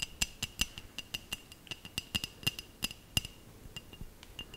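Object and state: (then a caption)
Glass bell ornament. Long nails tap a small hollow glass bell ornament held close to the mic, giving about 22 quick, bright clinks in an uneven rhythm. Each tap has a clear ringing tone near 2.8 kHz that dies away almost at once, with only a faint low thump beneath.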